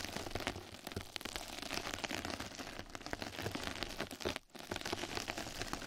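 Two mascara brushes scratch and brush across a flat yellow knitted-mesh scrub sponge pad laid over the microphone. The result is a dense, continuous, bright crackling rustle, much like rain on a surface. It dips briefly to near silence around the four-and-a-half-second mark before resuming.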